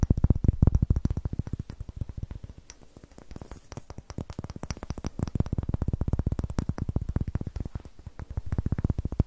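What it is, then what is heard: Pine wood block. Long nails scratch the rough, greenish end grain of a solid, light pine wood block held in the hand and tap along its sides. A rapid, steady stream of short, dull, low knocks is heard, each dying away almost instantly, softening briefly in the middle before picking up again.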